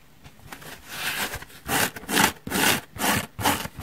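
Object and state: Foam car sponge.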